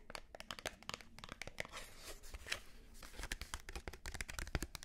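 A small Wilkinson razor blade pack, a plastic blade case on a yellow cardboard backing, is tapped and scratched with long nails. Rapid, crisp, dry clicks with bright edges mix with crinkly, rasping scratches that swell into longer scraping passages midway. The taps die instantly over a quiet low rumble.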